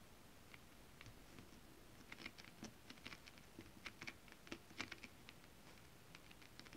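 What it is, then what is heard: Holographic scale-print fabric tapped with long nails. Long acrylic nails tap quickly on flat holographic mermaid scale-print fabric. The taps are quiet, dry clicks with a bright tick near 2.4 kHz and almost no ring. They come in an uneven, rapid patter that grows a little louder toward the middle.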